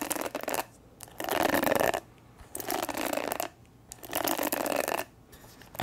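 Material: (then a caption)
Plastic. Long nails tap and scratch the hollow back of a purple plastic paddle hair brush. Bursts of dry, bright scratching with quick taps alternate with short quiet pauses, and the sound is mostly mid to high with little low end.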